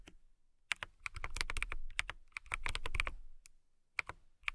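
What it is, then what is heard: Mechanical keyboard with acrylic case. Long nails and fingertips type irregularly on a compact transparent acrylic mechanical keyboard with clear plastic keycaps and a clear case. The roughly 22 sharp, clicky keystrokes ring out brightly around 2.3 kHz over a low thud. A brief pause comes before a few final taps.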